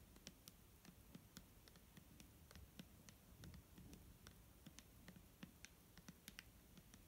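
Fingernails tap on a clear plastic micellar water bottle filled with liquid. The result is a quiet, irregular series of short, sharp clicks with bright ticks and a soft low thump under each tap.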